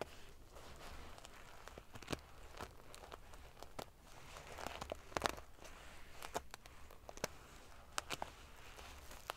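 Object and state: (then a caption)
Sequin-covered pillow being scratched. Long nails scratch and ruffle the rows of silver metal pieces on a large padded metal-sequin fabric pillow. They make a quiet, steady crinkling rustle broken by many sharp, bright clicks and ticks. A faint low hum runs underneath throughout.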